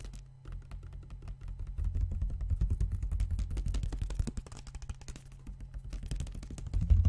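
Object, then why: Partly filled plastic water bottle. A large clear PET Vittel water bottle with a red cap, partly filled with water, is held in one hand and tapped with the fingertips close to the microphone. Quick, dense taps land as soft, deep, hollow thuds, with a steady low hum underneath. The tapping grows fuller in the middle and ends on a heavier knock.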